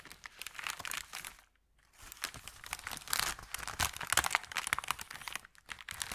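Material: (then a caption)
Paper. Hands lift and bend the edge of an empty, thin brown kraft paper bakery bag, crinkling the paper. Dense, irregular, bright crackles fill the clip, stopping for a brief silence near the start before returning louder and busier.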